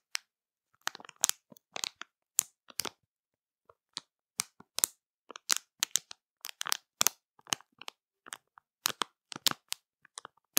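Long matte nails scratch and squeeze a full, colorful printed plastic candy bag. The crinkly plastic gives bursts of sharp, bright crackling in irregular clusters, with quiet gaps between. The sound is dry, with no low end.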